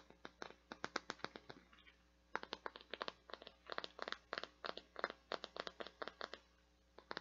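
Long dark nails tap and scratch over the surface and petals of a hand-sized translucent teal flower-shaped bath scrubby, plastic or silicone with a white center. A quick run of sharp, dry clicks and scratchy ticks comes in bursts, with a brief quiet pause after about a second and a half before the tapping resumes. Each tick is bright and dies away almost at once.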